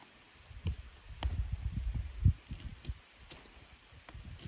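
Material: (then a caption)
Wood. A pocket knife blade whittles and scrapes along a solid, partly debarked wooden walking stick held in both hands. Soft, low, dull scraping strokes and crunchy rubs come in uneven bursts, with a few faint bright clicks between them.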